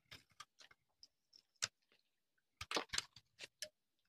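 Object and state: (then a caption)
Dry soap bar being shaved. A hand-sized, solid tan-orange bar of dry soap is held in the hand and shaved with a metal knife blade, sending long, crumbly shavings piling onto a concrete surface. About eleven short, dry, bright scraping crunches come in irregular bursts, each stopping almost instantly with no ring.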